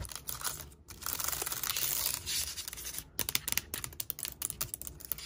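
Long nails and fingertips tap and type quickly on the black plastic keys and palm rest of an open silver aluminum laptop with a glass trackpad. A bright, steady scratching hiss fills the first three seconds, then gives way to rapid, sharp clicky taps.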